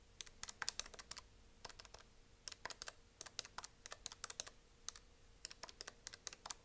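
Long nails tap rapidly on the keys of a hollow-bodied plastic desk calculator, then on its plastic back casing. About 28 short, dry, bright clicks come in quick irregular bursts with no ring. They are quiet, over a faint steady hum.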